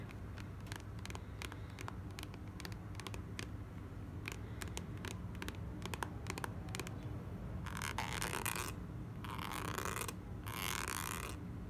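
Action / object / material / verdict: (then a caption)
tap / soft plastic squeeze tube / soft plastic / none. A full, soft plastic squeeze tube of clay mask is held in hand and tapped with long nails, giving a quick series of sharp, bright clicks over a low background rumble. It is then scratched in three longer bursts of bright, rasping friction.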